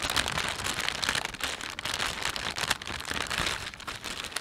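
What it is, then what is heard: Plastic shopping bag crinkling. Thumbs stretch and rub the film of a thin, empty plastic panda shopping bag. The result is a dense, continuous crinkling and crackling, bright and hissy with little low end, swelling and easing in irregular bursts throughout.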